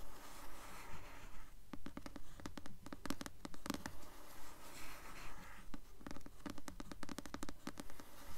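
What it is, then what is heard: Paperback book cover scratched with nails. Long nails scratch the glossy paper cover of the blue paperback novel "Delirium," held upright. Quick, dry, papery strokes repeat in a steady rhythm, each short burst bright and crisp over a soft, quiet background hush with no ringing after.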